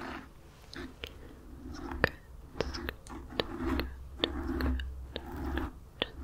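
Long nails scratch and tap on a black foam microphone windscreen, up close. Soft, dull rustling scratches swell and fade between sharp, bright taps that land at an uneven pace, over a low, muffled rumble.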